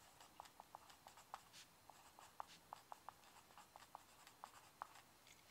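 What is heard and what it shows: A mechanical pencil writes across a yellow lined legal pad sheet lying flat on a wooden desk, its tip scratching the paper surface. Quiet, dry scratching strokes carry about 16 short, sharp ticks around 850 Hz, with faint bright hiss above and almost nothing in the low end.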